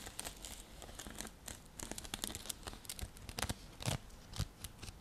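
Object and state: Woven seagrass coaster.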